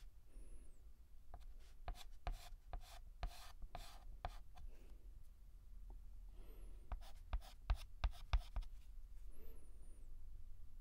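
A hand draws letter outline strokes on a large, flat, painted black chalkboard with a stick of white chalk. Short, dry scratching strokes come with sharp taps, over a low rumble and brief high squeaks.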